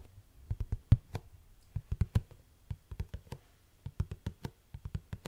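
Long acrylic nails tap and scratch the lid and front label of a purple, rigid plastic Dash laundry pod tub, a hollow container. About 25 short, dull, hollow knocks come in quick clusters, low-pitched and deep, with almost no brightness. Each tap dies away almost at once.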